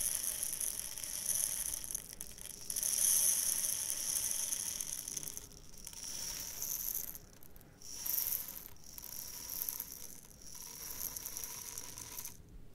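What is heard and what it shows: A small clear glass jar partly filled with tiny iridescent metallic seed beads is held in one hand with dark painted nails, then tilted and shaken so the beads rattle against the glass. The result is a soft, bright, hissing rattle that swells and fades in waves, with brief quiet gaps between shakes. There is very little low end.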